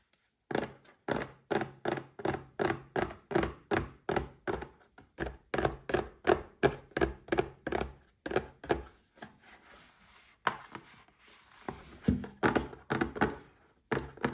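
A small, hollow, closed red printed cardboard gift box holding a Paladone Mario Kart drinking glass is held in both hands and tapped and scratched with fingertips and short nails. A fast, uneven run of dull, hollow taps with short, mid-pitched thuds gives way to softer, brighter scratching in the middle, then more taps.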